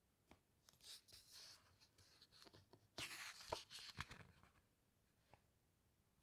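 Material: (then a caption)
Glossy paper. Fingertips and nails rub and slide across the glossy photo pages of a large hardcover book. Quiet, bright swishing strokes and small dry ticks come in irregular bursts, with a louder run of rubs in the middle before it fades back to soft scratches.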